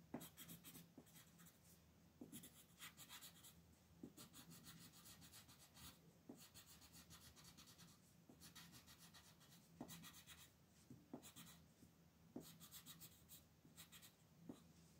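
A green colored pencil shades a flat paper coloring page on a table in back-and-forth rubbing strokes while the other hand holds the sheet steady. Quiet, bright, scratchy bursts of graphite dragging across paper come in rhythmic clusters, with soft taps as each stroke starts, over a faint steady low hum.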